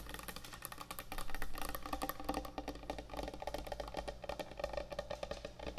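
Long nails scratch and tap quickly across the surface of a large, thick, solid end-grain hardwood butcher block cutting board. Rapid, dry clicks and scrapes crowd together over a steady low hum, with short woody knocks that die away almost instantly.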